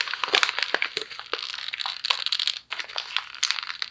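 A thin white paper sheet is crumpled and twisted into a ball with both fists, giving a steady run of bright, crisp crinkles and sharp crackles. The rustling stays dense and high, with almost no low end, and briefly drops out for a moment just past the middle before the crumpling resumes.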